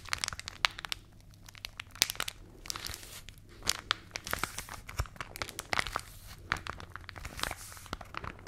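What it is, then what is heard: Rolled paper magazine being crinkled. A hollow tube of rolled paper magazine held in both hands is squeezed, rubbed and scratched with fingertips and long nails. The result is dense, bright crinkling and crackling with many sharp, dry ticks over a faint low hum.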